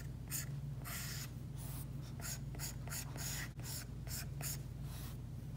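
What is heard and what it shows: An Apple Pencil's hard plastic tip is dragged in drawing strokes across an iPad glass screen covered by a matte plastic screen protector. Short, bright scratchy rubs come in bursts over a steady low hum.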